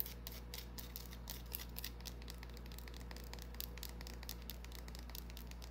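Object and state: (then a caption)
Bar of soap. A small, solid white rounded bar of soap held in the palm is scratched and tapped with long painted nails. Quick, bright, dry clicks and scratches patter along steadily and quietly over a constant low hum.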